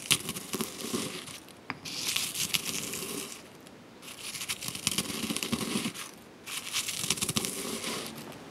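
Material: Freeze-dried fruit.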